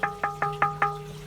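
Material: Plaster.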